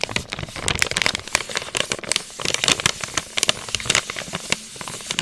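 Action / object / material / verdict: scrape / plastic snack pouch / plastic / none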